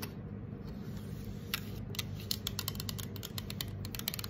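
Long acrylic nails tap and scratch the side of a hollow, green 355 mL aluminum soda can standing upright on a marble table; its fill level can't be seen. Quick, bright, dry clicks with almost no ring come faster and more densely in the second half, over a steady low hum.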